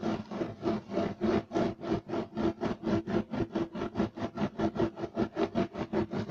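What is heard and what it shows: Two hands scratch rapidly with fingertips and nails across a beige striped loop-weave woven fiber carpet on the floor. The result is a fast, steady run of rough, rasping strokes, each a short swell of dry scratching noise. A hollow tonal hum sits in the low-mids beneath the brighter fiber scrape.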